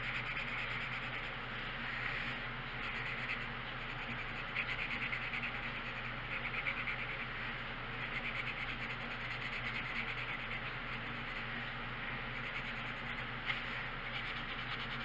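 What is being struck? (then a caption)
Paper coloring book page under a coloured pencil. The tip of a purple colored pencil rubs and scratches across a thin paper coloring book page lying flat on a wooden table while coloring. A steady, bright, papery scratching continues throughout, with small swells as the strokes change and a faint low hum underneath.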